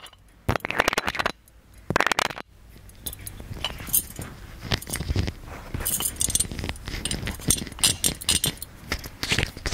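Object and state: Metal lamp tapped and scratched.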